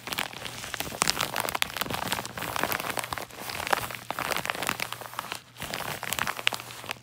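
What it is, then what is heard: Paper padded mailer envelope. Fingertips and nails rub, scratch and crinkle the surface of a large yellow kraft-paper padded mailer lying on a lap. The result is a dense, bright crackling and rustling that runs almost continuously, with brief pauses near 3.3 and 5.6 seconds. A faint steady low hum sits underneath.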